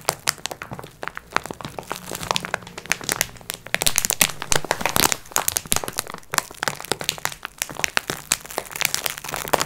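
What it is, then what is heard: Plastic-wrapped multipack of sponge cloths. Long nails scratch and tap across the top of a soft multipack of sponge cloths in clear plastic wrap. The result is a dense, continuous stream of sharp, bright plastic crinkles and crackles, centered around 2.5 kHz. Quick clicky taps with almost no ring run throughout the clip.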